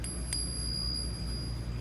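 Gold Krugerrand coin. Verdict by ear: Real.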